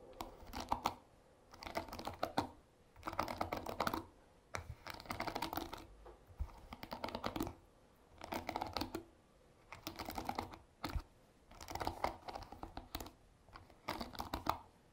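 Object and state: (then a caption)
Wooden-pin hairbrush bristles strummed. Fingertips strum and scratch across the wooden pins of a paddle hairbrush set in a black cushion, producing dense, rapid, dry clicking that resembles keyboard typing. The clicks come in short bursts about a second long, separated by brief pauses, and continue throughout.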